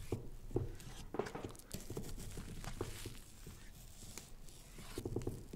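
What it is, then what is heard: Pumpkin rind being cut and scratched. A small knife cuts and scratches the firm rind of a large, fresh orange pumpkin carved with a jack-o'-lantern face, one hand holding it on top. Short, dry scrapes and knocks with a low, woody body come in irregular bursts, with quick clicks and a soft scratchy texture between them.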